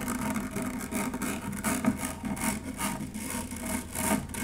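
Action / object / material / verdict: scrape / stainless steel wire-mesh strainer / stainless steel / none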